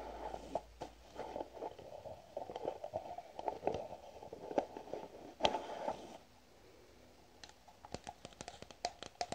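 A white plastic cream jar with a green lid is tapped with fingernails, making quick, dry, clicky taps with a mid-range body and almost no ring. The tapping is dense and busy for about six seconds, then drops to a quieter stretch of sparse, sharper single clicks.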